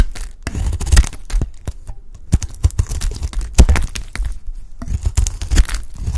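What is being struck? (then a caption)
Bar of soap scraped with a knife blade. A utility knife blade scrapes and shaves a peach-pink solid bar of dry soap with a streaked pink interior. Rapid, dry crunching and scraping strokes come in uneven bursts, each with a deep, thudding low end and a crisp, brittle top.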